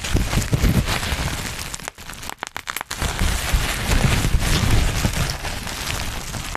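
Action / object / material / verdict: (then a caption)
scrape / plastic bubble wrap / plastic / none. Black plastic bubble wrap bunched over the mic is pinched by fingertips, popping bubbles in a dense stream of crinkles and sharp snaps with a heavy, close low rumble. Around the middle the rustling briefly drops away, leaving a few isolated pops before the crackling resumes at full density.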